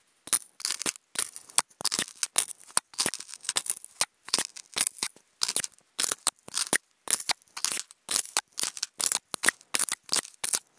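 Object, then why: Polystyrene foam food container scratched with wooden toothpicks. Wooden toothpicks scratch across a hollow, octagonal white polystyrene foam food container, making rapid, bright, dry squeaks and rasps. The short scraping strokes come in quick irregular bursts separated by brief silences, with almost no low end.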